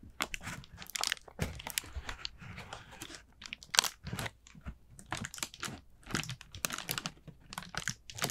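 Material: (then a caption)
Paper. Long nails tap and scratch the thin paper of an expanded, hollow, empty round orange paper jack-o-lantern with wire ribs. The result is a rapid series of bright, dry, crinkly taps and scrapes with almost no ring, between short pauses.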